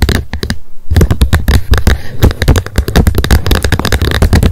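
Long nails tap fast on the plastic lid of a wet wipes pack lying flat on a fluffy mat in front of an untouched binaural microphone. The result is a rapid stream of short, dry plastic clicks with a deep thumpy body, broken by one brief pause near the start. Each tap dies away almost instantly.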